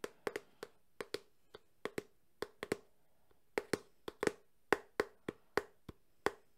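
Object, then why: Small closed cardboard box. Fingertips tap the edge and side of a small closed cardboard phone box held at an angle. About twenty quick, irregular taps come out as short, dry, hollow knocks, each with a faint papery tone near 400 Hz and almost no ring.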